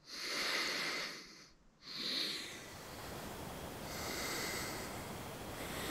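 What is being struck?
Nothing is struck.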